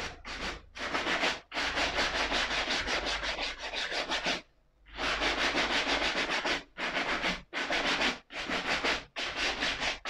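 A single black suede leather ankle boot is held up while its heel and upper are brushed with a small wooden brush. Continuous, bright, scratchy brushing strokes come in rhythmic runs separated by short breaks, with one longer pause midway, over a faint steady low hum.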